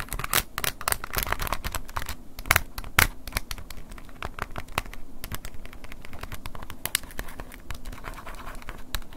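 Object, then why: Plastic flip phone keypad tapped and scratched with a wooden pick. An open silver plastic flip phone held in hand has its plastic keypad tapped and scratched with a wooden ear pick. A rapid, uneven run of crisp, dry clicks mixes with bright scratchy rasping, each tap dying away almost instantly, with a couple of sharper, louder taps near the three-second mark.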